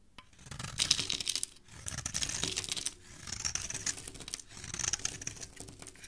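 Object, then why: Bar of soap scraped with a steel blade. A steel utility-knife blade scrapes and carves along the edge of a hand-sized, solid green rectangular bar of Italizia soap held in fingers with dark painted nails, peeling off crumbly shavings. Four long passes of bright, crisp, crackly scraping rise and fade in turn, with dense tiny ticks and almost no low end.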